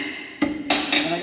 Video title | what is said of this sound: Adventures of a Bogan !!! Dok's Garage | go around tapping and they get a nice solid sound